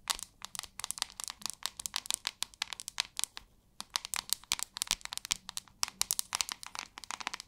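Long acrylic nails rapidly tap and scratch the back of a hand-sized white plastic paddle hairbrush. The result is a dense run of sharp, bright clicks and scratchy crackles with almost no low end. There is a brief quiet gap a little past the three-second mark before the tapping resumes.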